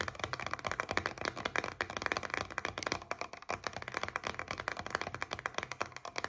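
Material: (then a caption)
Paperboard. Long nails tap and scratch rapidly on the surface of a paperboard coconut water carton with a blue plastic cap, first held in the hand and then lying on a table. The result is a dense, steady stream of dry, crisp clicks and scrapes centered in the upper midrange, with almost no low end and no ring after each tap.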